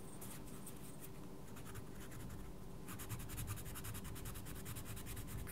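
A wooden coloured pencil rubs and scratches steadily across a mandala page in a small paperback colouring book while the other hand holds the page flat. The soft, papery strokes sit over a steady low hum and turn quicker and brighter about halfway through.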